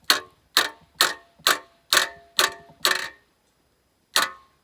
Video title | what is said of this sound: Breaking the trail and tapping the trees! | It sounds like there's no kind of tingy sound to it. It sounds really dead.